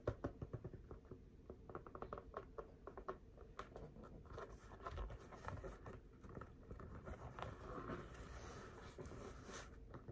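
A full-size, inflated, hollow rubber basketball in purple, black and yellow is held in the hands and tapped and scratched with the fingertips close to the microphone. Quick, quiet patters of dull, low thuds mix with soft scratching that continues throughout. Each tap dies away almost at once.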